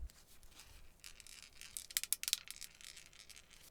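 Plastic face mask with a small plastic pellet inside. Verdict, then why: Loose. A cheap plastic skeleton face mask from AliExpress, hit by 30 rounds from an AK12, is shaken and rattles faintly because a loose BB pellet is trapped inside. Light, dry, high-pitched clicks and taps cluster in the middle and end with one sharp, louder click. The pellet inside shows a shot penetrated the mask.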